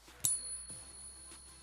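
A gold or silver bullion coin is struck once for a ping test, giving a single sharp strike that rings out as a clear, high bell-like tone. The ring sustains faintly over low background noise for the rest of the clip.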